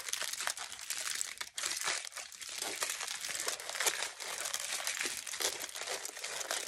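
Both hands crumple and rub a large crinkled sheet of thin aluminium kitchen foil. The result is a steady, quiet stream of bright, crisp crackling and rustling with no low end and only a brief lull partway through.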